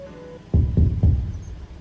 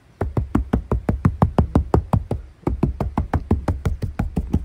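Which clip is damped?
The second.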